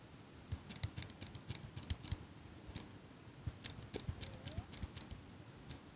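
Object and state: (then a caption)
Metal eyelash curler. A small metal eyelash curler, held close up by fingers with long pink nails, has its handles squeezed and clicked repeatedly. The result is an irregular series of short, sharp metallic clicks with bright, high edges and soft low thumps, each dying away almost at once. A faint brief squeak rises midway through, over a quiet background.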